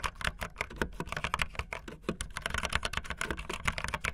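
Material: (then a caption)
Plastic. Fingertips with long light-blue nails type fast on a full-size backlit optical linear mechanical keyboard with white and blue plastic keycaps and a blue case, sitting solidly on a desk. A rapid, dense stream of short, clacky key presses and taps, each with a bright click over a low thock and very little ring.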